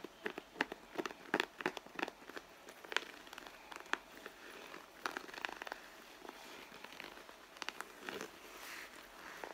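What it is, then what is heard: Leather handbag, scratched and tapped. Long blue nails scratch and tap the soft, hollow side of a red pebbled-leather handbag while the other hand holds the bag. The result is a quiet, irregular run of sharp, dry clicks and crackly scratching, bright and thin with almost no low end. Each tap stops instantly with no ring.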